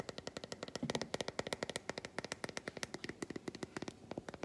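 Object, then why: Milk chocolate bar. An unwrapped, textured solid milk chocolate bar is held up while long white fingernails tap quickly across its squares. About 35 sharp, dry clicks come in a rapid, uneven patter, each one short with almost no ring.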